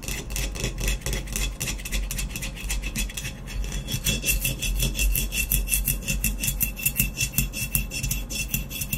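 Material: Glazed ceramic.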